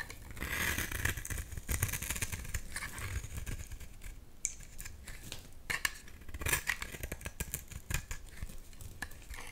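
A solid blue bar of soap, held in the hand, is scraped and shaved with a box-cutter blade into crumbly shavings. A steady, dry, crackly scraping runs throughout, with brighter crisp bursts and a faint low rumble underneath.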